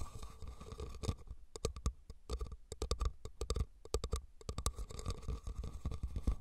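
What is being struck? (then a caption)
Woven rattan basket. Fingernails scratch and tap the weave of a hollow, red woven rattan cylindrical basket. Rapid, dry taps come in quick clusters over a soft scratching texture. Each tap is a short, dull knock that dies away almost at once.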